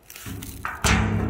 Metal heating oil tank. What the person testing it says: can still smell fuel, but it sounds empty